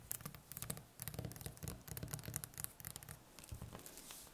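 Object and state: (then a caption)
Butternut squash tapped and scratched with fingernails. Long painted fingernails tap and scratch the skin of a large solid butternut squash lying on a table, one end wrapped in plastic film. Rapid, dry clicks and scratchy strokes come in quick bursts, bright on top over a soft, low, hollow thump, with each tap dying instantly and no ring.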